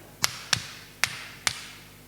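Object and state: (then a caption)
Wooden block intact after hammer strikes. A hammer strikes a piece of wood four times, each blow a sharp, bright tap with a quick decay. The wood stays intact and keeps its shape, because wood is harder than glass and would only break under a much stronger blow.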